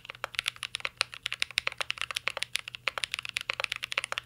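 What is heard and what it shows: Two hands type steadily with their fingertips on a full-size mint-green Cyberboard R3 mechanical keyboard with a metal case, plastic keycaps and Holy Panda switches, resting on a desk. A quick, continuous stream of short, sharp clacks comes through, bright and clicky with very little low end and almost no ring after each keystroke.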